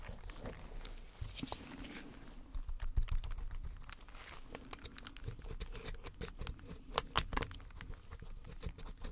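A metal pick scrapes and chips at the white plaster interior of a partly dug-out solid plaster block with a gold-painted outer shell. Irregular, dry scratching and crumbly tapping patter along, with a few sharper bright clicks standing out. Low rumbly body and almost no ring after each chip.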